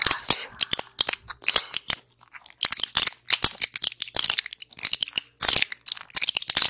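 Long acrylic nails tap and scratch a small, flat pill blister pack with plastic bubbles and a foil back. The result is a rapid, uneven run of crisp, bright clicks and crinkly scrapes that stop dead almost instantly, with almost no low end. Short pauses break up the run.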